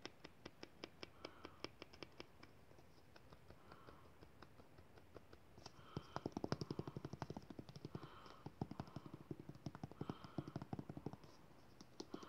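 Fingertips and nails tap and scratch fast along a white, soft plastic squeeze tube of aloe lotion, hollow and partly filled, including its crimped end. The result is a quiet, rapid, uneven stream of short, dry clicks and taps with a hollow, low-weighted body and light scratchy texture. The tapping grows denser and slightly louder in the second half.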